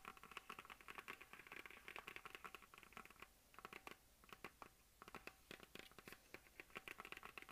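Long dark nails of both hands rapidly tap a hollow plastic map globe on a stand. The result is a quiet, dense patter of sharp, bright clicks with no ring, broken by brief lulls before the tapping resumes.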